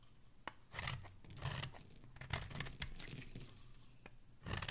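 A solid teal bar of soap held in the fingers is carved by a dark metal blade that scrapes off chunks and flakes. Repeated bursts of dry, crisp scraping and crunching come through, bright and gritty with a soft low body under each cut, separated by quiet pauses. A sharp short click stands out between the longer shaving strokes.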